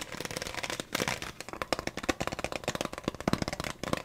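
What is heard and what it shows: A clear, thin plastic water bottle with a blue label, partly full of water, is held in both hands while fingertips tap its thin walls and squeeze them. The result is a dense run of quick, dry taps mixed with bright, crackly plastic crinkling, each tap dying out almost at once.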